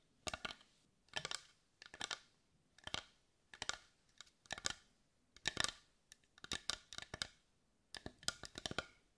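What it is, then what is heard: Carved wooden heart tapped with fingernails. Long white nails tap quickly on a carved wooden heart with visible grain, seen edge-on. Short bursts of bright, dry clicks come in quick clusters with brief quiet gaps between them. Each tap dies away almost at once.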